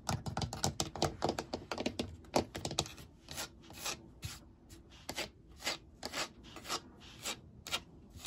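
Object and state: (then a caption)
Plastic shower chair. Fingertips and nails tap and scratch across the perforated surface of an empty white molded plastic shower seat with drainage holes and handle cutouts, hollow underneath. A quick run of dry, clicky taps gives way to slower, spaced rasping strokes, each a short bright hiss that dies out almost at once.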